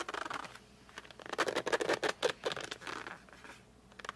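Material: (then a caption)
Cardboard. Fingertips grip and rub the glossy front of a flat cardboard colored pencil box as the box is rotated. The result is a quick, uneven run of dry, scratchy squeaks and rubbing bursts that swell in the middle and trail off into faint, soft brushing.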